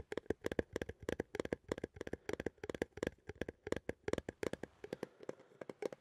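A small cylindrical metal coffee tin, held in both hands, is tapped and scratched with fingertips and nails. The result is a quick run of dry, tinny taps with a short ring around 465 Hz, mixed with light scratchy scraping toward the end.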